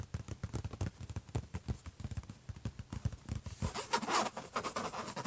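Both hands tap rapidly with their fingertips and scratch with their nails on the closed lid of a silver HP laptop. For the first three and a half seconds, quick, dull, low taps patter in a dense run. Then the sound shifts to louder, rougher nail scratching with a bright, hissy edge.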